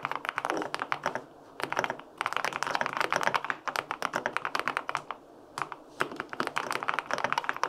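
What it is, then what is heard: Aluminum mechanical keyboard with plastic keycaps. Fingertips type on the plastic keycaps of a white-pink full-aluminum 65% mechanical keyboard with linear switches. Bursts of quick, crisp clacks with short, tight decay run through the clip, separated by brief pauses.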